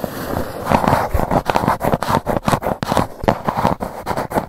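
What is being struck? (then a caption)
Cardboard box lid. Long nails tap and scratch the lid of a grey GUCCI cardboard gift box, making a dense run of dry, close-up scraping strokes broken by quick tapping. The sound is mid-pitched and papery, and each stroke swells and cuts off abruptly with almost no ring.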